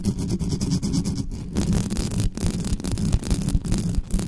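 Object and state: Metal condenser microphone grille scratched with nails.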